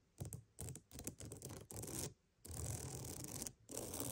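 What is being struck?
Wooden mat.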